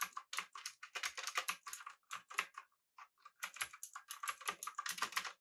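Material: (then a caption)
Plastic. A mechanical keyboard with an aluminum body, round plastic typewriter-style keycaps, pink backlighting and blue switches is typed on rapidly with the fingertips of both hands. Bright, crisp clicks come in quick bursts with a short pause near the middle, each keystroke sharp and dying away almost at once.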